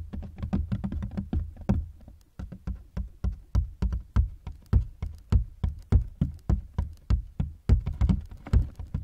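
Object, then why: Hard-shell plastic suitcase. Fingertips tap and knock on the ribbed side panels of a large black hard-shell plastic suitcase, which is hollow and partly unzipped, heard from inside the case. Quick, irregular runs of dry, low, hollow thumps die away almost instantly, packed closely at first and then spaced out into a steadier pattern.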